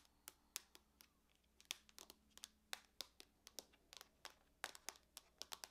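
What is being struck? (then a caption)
Aluminum laptop lid. Long nails tap and scratch on the lid of a closed silver aluminum laptop. The result is an irregular series of short, bright, dry clicks with faint scratching between them, and almost no low end.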